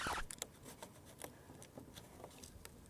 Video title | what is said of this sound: ABANDONED 300hp Twin Turbo Airplane Mistake ? | this is all super rotten